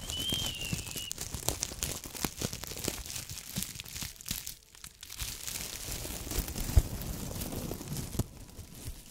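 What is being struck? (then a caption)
Metallized plastic foil tinsel garland. A long, light, airy green-silver tinsel garland of thin metallized plastic strands is held in both hands and squeezed and rubbed with the fingertips. It makes dense, continuous crinkling and rustling with sharp crackles, briefly quieting midway before picking up again.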